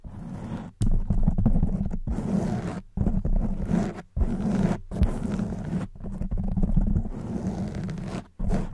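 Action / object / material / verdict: scrape / foam microphone windscreen / foam / none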